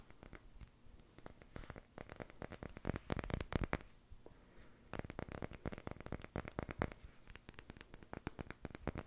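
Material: Glass.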